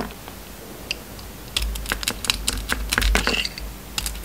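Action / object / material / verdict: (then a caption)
scrape / soap bar scraped with a metal blade / soap / none. An oval, solid bar of soap with a gold coating and an orange inside is held in the hand and shaved and scraped with a metal utility knife blade. Short, dry, bright scraping clicks start sparse and then come in a denser, irregular run from about halfway through, over a steady low hum. Each scrape is crisp and dies away almost instantly.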